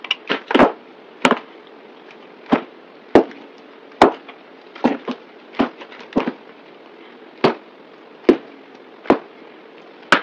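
A yellow box cutter blade cuts and scrapes chunks off a solid rectangular green soap bar with an embossed face, held in the hand. Sixteen sharp, crisp cracks and crunchy snaps ring out, some in quick clusters. Each one is short and bright, over a low steady hiss.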